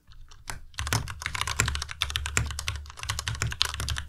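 Fingertips type continuously on a white plastic Ducky Miya Pro tenkeyless mechanical keyboard with RGB backlight. The result is a fast, steady stream of short, crisp key clacks, each pairing a bright, clicky top with a low thock underneath and stopping almost at once.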